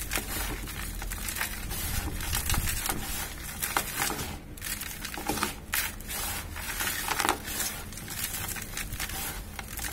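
Both hands scoop handfuls of gritty dry cement powder and lumps, squeezing and rubbing them inside a bucket. A steady, close crunching and crumbling rasp fills the clip, with bright granular crackle over a low rumble and occasional louder crushing bursts.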